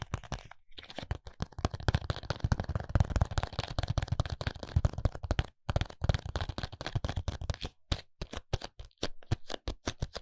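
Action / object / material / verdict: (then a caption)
tap / small paperboard contact lens box / paperboard / none. A small paperboard contact lens box is tapped rapidly on its faces with fingertips and short nails. It gives dense, dull, low-weighted clicks with almost no ring, running in quick irregular bursts with brief pauses.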